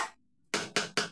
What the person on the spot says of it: plastic, kinakatok lang. Magkaiba yung tunog.